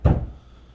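A single knock on the interior wall between a bedroom and an arts and craft room gives a dull, low thud that dies away quickly. It sounds solid, like a support wall: it can be opened up only with a header across the span.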